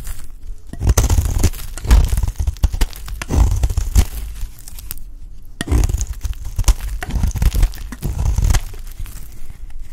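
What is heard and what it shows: The edge of a solid, dry orange bar of soap is scraped repeatedly with a metal blade, shaving off fine grated strands. Dense, rough scraping and crunching comes in bursts with short dry pauses between strokes, heavy in the low end and with little ring.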